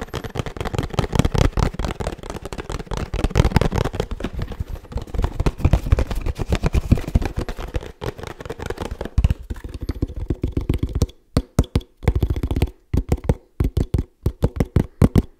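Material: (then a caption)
Paperboard laminate. A 1 L oat milk carton of laminated paperboard with a plastic screw cap is held in the hands and tapped fast with the fingertips and nails. The taps are dull, low and hollow, with very short, dry decay. They run in a dense, continuous patter for about eleven seconds, then break into quick bursts separated by brief silences.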